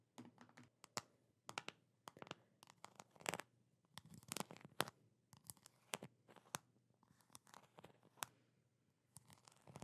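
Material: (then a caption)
Plastic. Long nails tap and scratch the blue plastic lid and sides of a medium plastic jar full of peanut butter. Quick, dry clicks and bright scraping strokes come in irregular bursts with short pauses between them. Each tap stops almost instantly with no ring, over a faint low hum.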